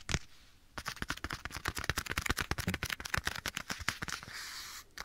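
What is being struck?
Leather glove.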